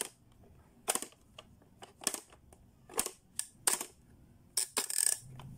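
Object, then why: Hard plastic pop-up toy. Fingertips slide the switches and push down the lids on a blue, hollow, hard-plastic Playskool Pop-up Learning toy. About thirteen sharp, bright plastic clicks and snaps ring out over near silence, each dying away almost instantly.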